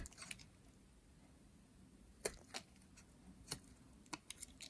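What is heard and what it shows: A metal utility blade scrapes and carves a green, solid, dry soap bar, producing short, crisp, bright scratching clicks scattered over a quiet, low background hum. The clicks are brief and dry, with almost no ring after each cut.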